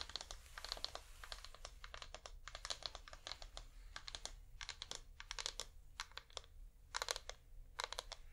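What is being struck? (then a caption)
Wax pillar candle. A flameless wax pillar candle is held upright in both hands while fingernails tap on it quickly. The rapid, dry, bright clicks come in uneven bursts and stop almost instantly, over a faint low steady hum.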